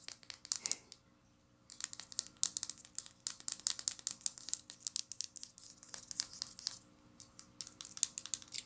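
Long nails tap and scratch a small amber glass essential oil vial and its black plastic cap, making quick, bright clicking and scratching sounds. The dense bursts of short ticks pause briefly near the start, then keep going in an uneven rhythm.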